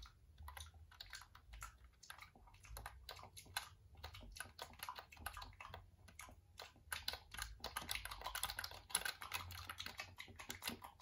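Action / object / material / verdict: tap / plastic computer keyboard / plastic / none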